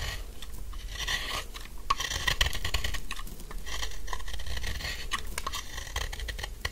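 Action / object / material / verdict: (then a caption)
scrape / bar of soap scraped with a knife / soap / none. A metal knife blade scrapes along the edges of a solid, dry pink soap bar with embossed lettering. The result is a dry, crumbly rasping texture of quick, uneven strokes with brief sharper clicks. A low rumble sits underneath.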